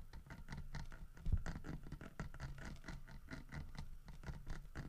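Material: Wood.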